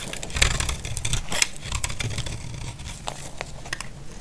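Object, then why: Bar of soap scraped with a blade. A utility blade scrapes the faceted edges of a solid, dry, cream-white bar of soap. It makes a string of short, crisp scraping strokes with bright, gritty bursts, heard over a steady low rumble. The strokes are loudest early on and grow softer toward the end.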